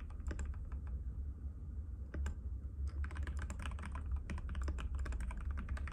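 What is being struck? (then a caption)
Plastic mechanical keyboard. Fingertips of both hands type continuously on a compact cream-white mechanical keyboard with plastic keycaps and a hollow case, which rests on a glass table. Rapid, short clacky taps come in quick runs, with a brief lull early on before the typing picks up again, over a steady low hum.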